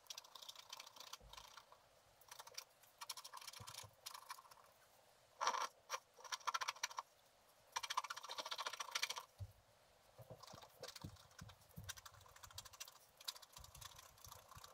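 A pointed wooden stylus makes repeated short scratches across a flat sheet of black wax-coated scratch art paper. Bursts of dry, bright scratching come in clusters with brief pauses between them, and some strokes are sharper and louder than the rest. Low thuds are faint.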